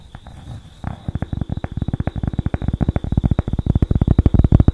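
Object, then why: Thin cork board. A thin, flat cork board, held in front of the mic and briefly raised above the head, is scratched and tapped with long acrylic nails. After a soft, low rustle, a quick, uneven run of about 29 short, dull, bass-heavy taps builds in loudness, each one dying away almost instantly, over a faint steady tone near 3.8 kHz.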